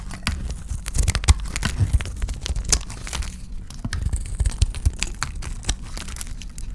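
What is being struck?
Bar of soap scraped with a knife blade.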